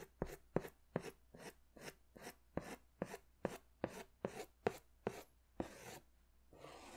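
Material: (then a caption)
Paper. A green pastel crayon is drawn in scratchy strokes across a large white paper sketch pad held in one hand. It makes a steady run of short, dry scraping strokes at about two and a half per second, each with a sharp onset and a quick fade. The run ends with a couple of longer, softer rubbing strokes.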